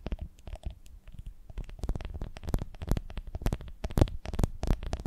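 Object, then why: Ribbed glass honey jar. Long nails tap and scratch quickly along the ridges of a full, ribbed glass honey jar with its lid on, held close to the microphones. Dense, rapid clicking and scraping with short, sharp transients carries a strong low thump underneath and bright glassy edges on the taps.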